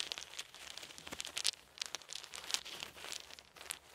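Small solid wooden beads held in each hand are rolled and clicked together by the fingers. Quick, dry, bright clicks and clacks patter irregularly over a soft crinkly rattle, with almost no low end and no ring after each tap.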